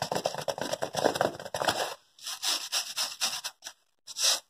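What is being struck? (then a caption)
Thin paper sheet. Fingertips rub and tap a thin white paper sheet handled close to the microphone. For the first two seconds there is a dense, continuous papery rustle with some mid-range body. After that come separate short, bright scratchy strokes with brief silences between them.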